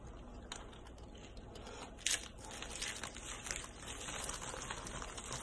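Hands pick up rolled, curled dry soap shavings in light blue, cream and purple from a white towel and crush them between the fingers. The result is a steady run of dry, bright crunching and crinkling with a louder crackling burst near the two-second mark.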